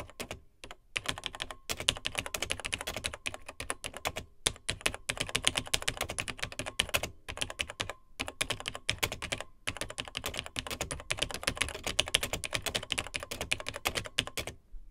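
Fingertips of both hands type on the dark plastic keys of a beige plastic Tandy TRS-80 Model 100 vintage portable computer. The result is a fast, steady stream of short, bright plastic clicks and clacks with very little ring, broken by a few brief pauses.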